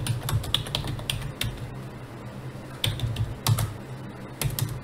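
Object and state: Plastic computer keyboard being typed on.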